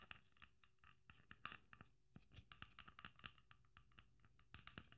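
Long nails tap and scratch across a red sequin-covered Christmas ornament with gold braid. The result is a quiet, rapid, uneven patter of short, dry clicks, each bright and crisp with a faint scratchy rustle of sequins between them.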